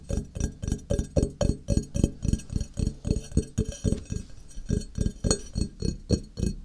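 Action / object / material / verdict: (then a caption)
tap / ceramic tile / ceramic / none. Fingertips tap along the edge of a flat, solid grey ceramic tile held on edge, giving a rapid, slightly uneven run of about thirty dry, knocking taps. Each tap is short and mostly low with a faint glassy clink and almost no ring.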